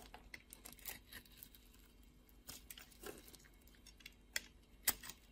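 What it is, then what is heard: Bar soap being cut. A blade scores a grid into a solid blue soap bar with an embossed logo, held in the palm, and shaves off the pieces. Quiet, bright, crisp scraping and crunching ticks come in an irregular run, with two sharper snaps near the end.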